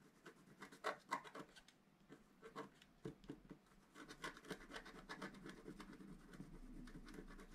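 A wooden stylus scratches along the top edge of a black-coated scratch art paper sheet while the other hand rests flat on the sheet. The result is a quiet run of short, dry, papery scratch strokes, about four per second at an uneven pace, each fading almost at once. The strokes are loudest early on, with a faint rasping hiss underneath.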